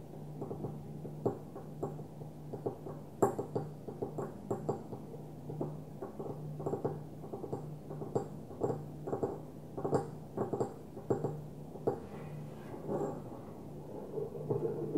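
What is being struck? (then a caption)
Small glass perfume bottle. A small opaque white glass perfume bottle is turned and held in both hands while long nails tap on it. Many quick, light, dull clicks come in an uneven flurry, each dying almost at once with a mid-pitched tone, over a steady low hum.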